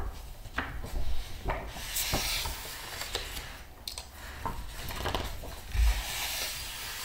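A palm and fingertips rub across the glossy paper pages of a large open art book while the pages are turned. The result is soft, dry swishing and rasping with brief bright crinkles over a low, muffled rumble.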